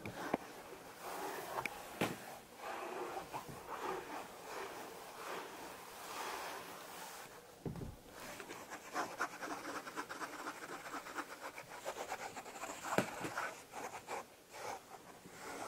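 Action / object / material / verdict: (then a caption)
scrape / stuffed velvet fabric cushion / velvet fabric / none. A grey crushed velvet fabric cushion, soft and stuffed, is rubbed and scratched across its pile with a flat hand and fingertips. Quiet, continuous brushing and scratchy friction noise is heard, with a few brief louder scratches standing out.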